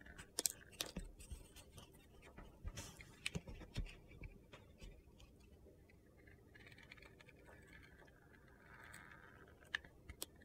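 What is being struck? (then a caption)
Soap bar with a sugary glitter crust. A utility knife cuts and scrapes the turquoise crunchy crust on a solid white soap bar coated in sugar glitter. Quiet, sharp crunches and gritty scratches come in bursts, with brief bright clicks standing out. The scraping eases into a soft, steady gritty rasp toward the end.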